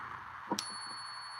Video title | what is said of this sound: J & J’s Currency is live! | If something is silver, it will have that ring when you strike it. That's called the ring test.